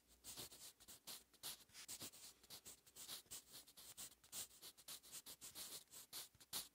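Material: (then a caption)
Paper. A wooden graphite pencil held in the fingers scratches across a lined paper notebook page lying flat and solid on a surface, writing in continuous handwriting strokes. The sound is a quiet, bright, papery scratching made of about thirty short, rapid bursts, almost entirely high in pitch with very little low end and no lingering ring.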